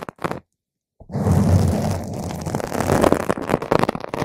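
Long, pointed green acrylic nails scratch a purple spherical foam windscreen on a microphone, first with the hands cupping its sides and then with the nails dragging across the top. Two brief scratchy bursts come before a short silence. They give way to a dense, continuous, low rumbling rasp with a heavy boomy bottom and crackling texture.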